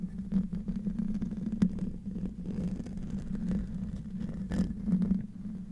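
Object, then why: Metal mesh microphone grille. A silver microphone's hollow metal mesh grille is scratched with the fingertips and nails of both hands. The sound is low and rumbly: a steady hum near 184 Hz with a dense run of short scraping, crackling strokes and a few brighter clicks over about six seconds.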